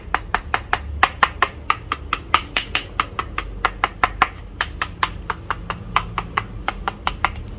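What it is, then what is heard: Solid plastic grinder housing. Repeated sharp, short knocks on the plastic body of a new DeWalt DWE4118 variable-speed angle grinder, each with a quick, dry ring. The housing sounds solid all over and is sturdy, with no soft spots.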